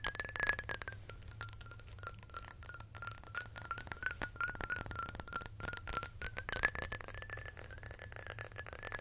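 Long nails tap rapidly on the sides of a square glass Chanel perfume bottle full of amber liquid, with a glass stopper. The result is a dense, fast stream of bright, high glassy clinks with very short ring, over a faint sustained mid tone.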